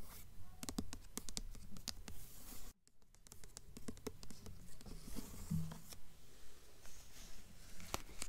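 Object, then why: Hardcover book with glossy paper dust jacket. Long nails scratch across the embossed glossy paper dust jacket of a blue hardcover book held up, producing a quick, uneven series of dry, crisp scratches and clicks over a low rumble. A brief near-silent gap interrupts the strokes partway through before they resume.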